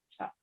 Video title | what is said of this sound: 19 02 21 Kooking with Kim part 2 | i can pick it up and tap it so yep there's a little happy noise there